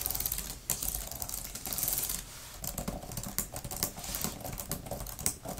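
Long-nailed fingertips type quickly on a grey, thin plastic laptop type-cover keyboard with flat plastic keys. The result is a fast, dense stream of short, bright clicks and taps that die away almost instantly, with a low rumble underneath.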